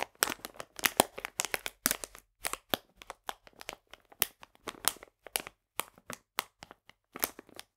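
A full printed plastic bag of polenta is squeezed and crinkled with fingertips and nails. It gives a dense run of sharp, dry plastic crackles and crunches with bright, hissy highs and almost no low end. The bursts come in quick irregular clusters separated by brief silences.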